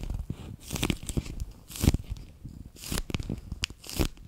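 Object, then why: Clear PVC pouch filled with water beads. A handheld, bear-shaped clear PVC pouch full of water beads has its edge and ears squeezed and crinkled between fingers and nails. Irregular bursts of crinkling and crunching plastic come with soft, low squishes, and brief bright crackles stand out over a bass-heavy body.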